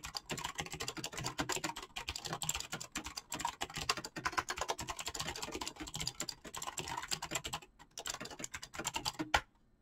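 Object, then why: Mechanical keyboard with PBT plastic keycaps. Fingertips type rapidly on a full-size backlit mechanical keyboard with PBT plastic keycaps, making a dense stream of bright, clacky keystrokes. The taps have short decays and come in quick runs with brief pauses, then stop just before the end.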